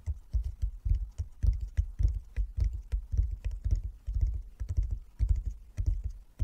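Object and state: Wooden chess board.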